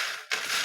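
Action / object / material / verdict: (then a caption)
shake / fried snack pieces being tossed / fried snack / crisp. Freshly fried red snack pieces seasoned with salt and chili are tossed by hand to mix them, giving a bright, crackly rustle that fades briefly and then returns in a sharper crunchy burst. The sound shows the pieces have turned out crispy.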